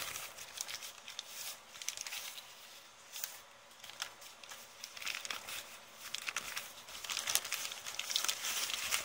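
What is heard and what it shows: A flattened, crumpled brown kraft paper bag is pressed, crumpled and pulled by both hands with long painted nails. Bright, crisp crinkling and crackling comes in irregular bursts, with a few sharper tearing sounds that grow louder toward the end.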